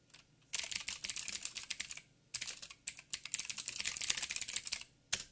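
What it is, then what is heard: Mechanical keyboard with plastic keycaps. Fingertips type on a backlit mechanical keyboard with plastic keycaps and blue clicky switches. Rapid, bright, sharp clicks come in two long bursts separated by a short pause, followed by a final quick keystroke. The sound is crisp and high with almost no low end.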